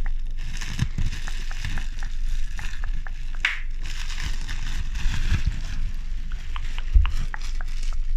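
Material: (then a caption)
Plastic. Fingertips with pink nails squeeze and crush the hollow air bubbles of a large sheet of clear plastic bubble wrap. It makes a steady run of sharp little pops and crinkling crackles over a low rumbling bed, with a few louder snaps standing out.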